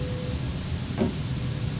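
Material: Nothing is struck.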